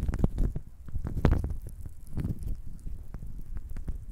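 A handful of small, solid, warm-toned wooden cubes rests in an open palm and is stirred and clacked together by the fingertips. Dull, low knocks and soft clattering come in quick irregular bursts, with brief bright ticks over a muffled, rumbling body. Each knock dies away almost at once.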